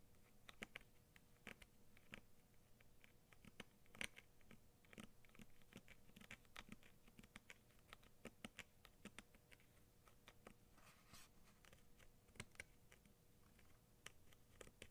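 Long nails tap rapidly on the front of a Crayola scissors package, a small, hollow clear plastic blister over a cardboard card. The result is a quiet, steady patter of short, dry, bright clicks with very little ring, with some a little louder than the rest.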